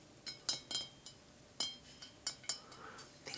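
A small decorative ceramic pumpkin is tapped, giving about eleven light, high-pitched clinks in an irregular rhythm. Each clink is bright and short, ringing only briefly before dying away, and the pumpkin sounds as expected for ceramic.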